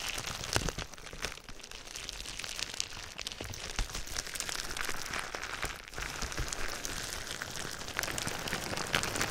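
Fingertips and nails tap and scratch clear plastic bubble wrap wrapped around a binaural microphone. The result is a steady, dense crinkling and scratching texture with bright, sharp clicks and taps scattered throughout, plus some low thumps from handling close to the mic.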